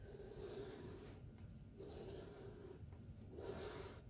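A small piece of white Ivory bar soap is held in the hand and shaved with a pocket knife. Soft, rasping scrapes come in repeated strokes, each with a low, hollow tone and a faint, bright hiss of the blade cutting through the soap.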